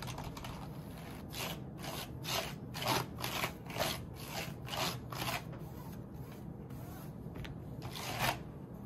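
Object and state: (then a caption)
Plastic computer keyboard. White cotton-gloved fingers press, rub and wipe across the keycaps of a full-size black plastic membrane keyboard with a wrist rest and a hollow plastic body, resting on a stone-look table, while a dark tool or cloth moves over the top rows. Soft, irregular plastic clicks and bright scraping swishes rise in short bursts over a steady low background hiss.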